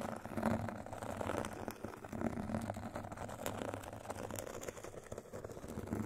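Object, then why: Foam-core foot file with fine grit surface. Two thin metal sticks scratch and tap across the white fine-grit side of a rectangular foot file with a foam core. The result is a steady, dense gritty rasping with soft, quick taps over a low, muffled hum.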